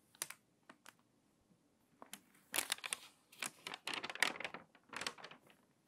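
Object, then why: Glossy paper magazine. A hand with long white nails grips the edges of an open, water-damaged glossy magazine and turns its crinkly pages. Bright, dry crackles and rustles come in short bursts, building into denser crinkling clusters toward the end.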